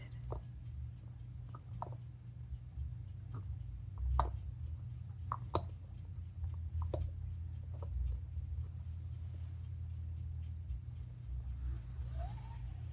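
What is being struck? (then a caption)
Small blown glass ornament. An octopus ornament from an aquarium shop, thought to be a single piece of blown glass apart from its eyes and hanging loop, is handled and tapped. Short, sharp clicks and taps ring briefly over a steady low hum.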